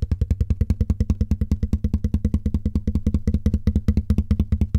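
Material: Cardboard.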